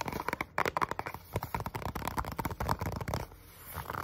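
Medium-length natural nails and fingertips tap and scratch quickly across the front and sides of a small, hollow, white printed cardboard box (Samsung Galaxy SmartTag packaging) held in both hands close up. The result is a dense run of sharp, dry, hollow taps mixed with papery scratching. The sound briefly softens to a faint rasp before picking up again at the end.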